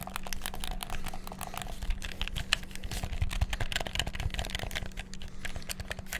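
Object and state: Plastic game controller.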